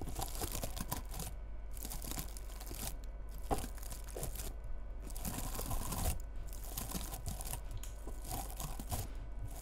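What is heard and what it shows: Long red nails scratch and rub the frosted synthetic bristles of a small cone-shaped bottle-brush Christmas tree decorated with bead ornaments. The result is a steady, dense crinkling and crunching with bursts of bright, scratchy rustle that rise and fade throughout.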